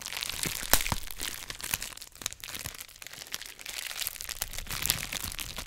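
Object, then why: Plastic bubble wrap. A sheet of clear plastic bubble wrap wrapped around a white microphone is squeezed and crinkled by fingertips, popping its air bubbles. Dense, bright crinkling runs throughout, broken by sharp snapping pops that cut off almost instantly, with a soft low thump beneath the louder ones.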